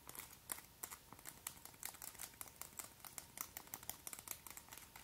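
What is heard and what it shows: Long, white, hollow acrylic press-on nails on one hand are tapped and clicked by the nails of the other hand. A quiet, rapid, irregular series of sharp, bright clicks is heard, each dying away almost instantly. The clicks are mostly high-pitched with little low end.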